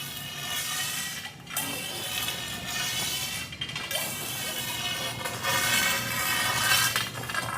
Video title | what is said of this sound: Inspection Fuel 2025 Presents: How to inspect pools - A practical guide for home inspectors | rub a uh a screwdriver on a kitchen tile floor. You can hear the disbonded tile.